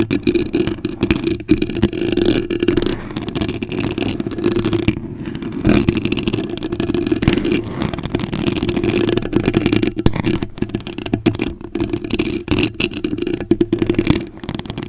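Long acrylic nail tips scratch the surface of a white foam cover on a microphone, making a dense, continuous crackling scrape with many quick scratchy strokes. Beneath the scratches runs a steady low hum.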